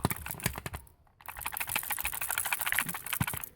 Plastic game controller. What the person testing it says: there's something rattling around, which probably has to do with the analog stick, why it's so loose